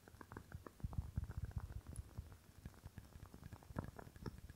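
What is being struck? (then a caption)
Glass candle jar filled with wax. Fingernails tap rapidly on a rectangular clear glass candle jar filled with red wax, held close to the microphone. The quiet, irregular taps come as soft, dull clicks with a deep thud and almost no ring, heavier in the middle and again near the end.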